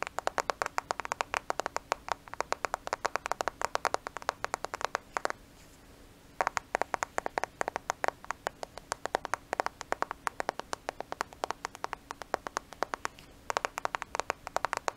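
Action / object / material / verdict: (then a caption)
tap / smartphone with glass and plastic body / glass, plastic / none. A black smartphone with a glass and plastic body is held close to the microphone and tapped rapidly with the fingernails. The result is dense bursts of short, sharp, bright clicking taps with no ring, broken by a brief pause of about a second near the middle before the tapping resumes.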